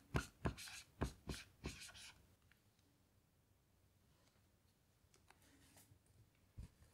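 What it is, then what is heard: Marker writing on a small melamine whiteboard. A blue dry-erase marker writes letters on a small melamine lap whiteboard lying flat. Five quick, bright, squeaky gliding strokes come in the first two seconds, followed by a long near-silent stretch with faint scratches. One last short stroke sounds near the end.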